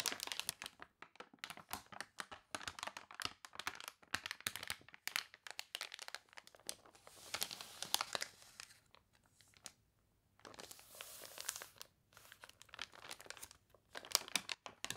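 Hands turn and crinkle a wrinkled page of a thick, glossy paper toy catalog, then fingertips rest on and rub the pages. Dense, bright crinkling and crunching fills the clip in quick bursts, with a brief quiet gap before a softer, hissing rub and more crinkles.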